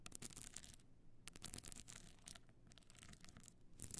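Long nails scratch the pebble-chip covered face of a stone-chip covered box clutch standing on its end with its frame slightly open. Quiet, bright, gritty rasping comes in short bursts separated by brief lulls.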